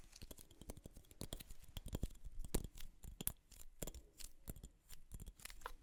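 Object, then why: Wooden object. A wooden object is tapped in quick, irregular succession, giving many short, dry knocks with almost no ring. The taps are quiet and dull, with most of their energy in the low frequencies and faint scratchy contact sounds between them.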